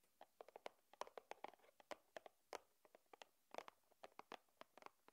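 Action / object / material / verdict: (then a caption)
tap / small cardboard box / cardboard / none. A small, flat white cardboard box for a USB cable, lying on a wooden table, is tapped by long nails. About 27 quick, light, hollow taps sound in an irregular rhythm, each dying away almost instantly.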